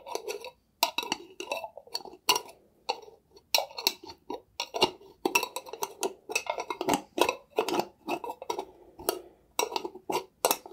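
A clear, hollow glass mason jar with a metal lid and some liquid inside is held up and tapped and scratched with fingertips and nails. Irregular bursts of short, dry clicks and scratchy rasps centre around 1 kHz with bright glassy overtones and almost no low end. Each sound dies away almost at once, separated by brief silences.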